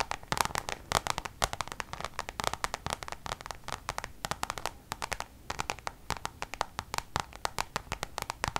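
Long nails on both hands tap rapidly across a coated-canvas Louis Vuitton designer pouch. Dozens of sharp, dry clicks come in quick, uneven bursts, each bright and crisp with little low end and no ring.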